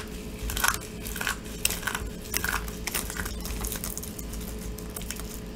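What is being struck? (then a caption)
Dried soap chunks. Handfuls of dry soap chunks in white, purple and orange are squeezed, crumbled and rubbed between fingertips over a pile of crumbled soap. The result is a steady run of dry, bright crunching and crackling bursts over a faint low hum.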